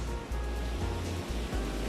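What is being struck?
Nothing is struck.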